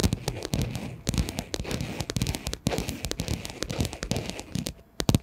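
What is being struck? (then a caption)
Padded fabric pencil case. Long nails of both hands tap quickly on a hollow pink padded fabric pencil case. The result is a rapid, uneven run of sharp, crackly clicks over a soft, low, padded thump, with each tap dying away almost instantly.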